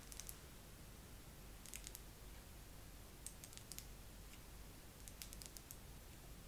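A face massager is tapped slowly with long nails. Short, bright clicking taps come in small clusters with pauses between them, over a quiet, steady low rumble.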